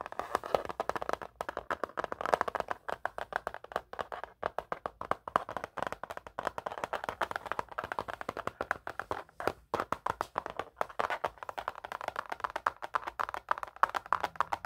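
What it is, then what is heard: Plastic laptop lid. Fingertips and painted nails tap and drum rapidly on the plastic lid of a closed blue Acer Chromebook with a smiley sticker, held against the chest. The result is a fast, irregular stream of dry, clicky taps centered in the midrange, each dying away almost instantly, with very little low end.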